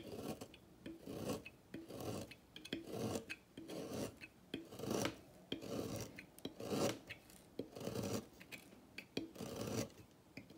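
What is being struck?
Bar of soap scraped with a thin metal blade.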